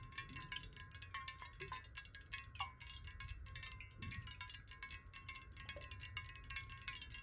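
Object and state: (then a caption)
Glass water bottle, partly filled. A clear square glass water bottle, lying on its side, hollow and partly filled with water, is tapped rapidly with the long nails of both hands. A dense stream of quick, bright clicks rings with a steady chime-like glassy tone near 1 kHz and shimmering high overtones, with a faint low rumble underneath.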